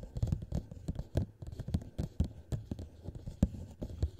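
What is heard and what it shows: A small, hollow, empty clear plastic cup is turned upside down over a microphone head and tapped rapidly with the fingertips of both hands on its sides. About twenty quick, soft taps sound as dull, low, boomy thumps that stop almost instantly, with no ring and little brightness.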